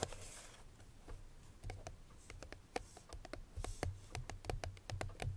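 Long fingernails of both hands tap rapidly on the front face of a small, hollow, unwrapped cream-colored Chloé paperboard perfume box. About twenty crisp, dry clicks with a faint hollow tone rise from a quiet start and quicken toward the end. Each click dies almost instantly over a low, steady background hum.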